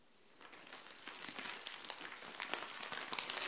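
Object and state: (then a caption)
Plastic mailer bag with clothing inside. Long nails scratch and tap a frosted clear plastic SHEIN mailer bag holding dark clothing, lying flat on a tile floor. Bright, crisp crinkling builds from near silence into a dense run of irregular scratches and sharp ticks, growing louder toward the end.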